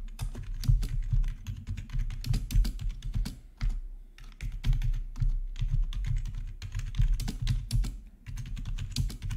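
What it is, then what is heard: Plastic membrane keyboard being typed on. Fingertips of both hands type steadily on a full-size black plastic membrane gaming keyboard with RGB backlight, resting on a marble surface. Its hollow housing gives dense, rapid taps with a deep, thumpy low body and short bright clicks. The typing pauses briefly a couple of times before resuming at the same pace.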